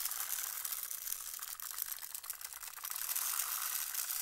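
A long, clear, hollow plastic rainmaker toy tube with colored plastic tiers, green end caps and small beads inside is held in both hands and tilted and turned. The beads cascade and rattle through the tiers in a steady, dense, bright patter of tiny clicks with almost no low end.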